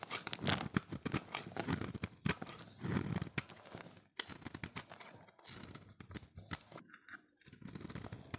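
A solid, oval, light blue bar of dry soap is held in the hand and scraped into flakes with a utility knife blade. A steady run of short, dry, crisp scrapes and crumbly flaking sounds goes on throughout, with a brief quiet pause near the end before the scraping resumes.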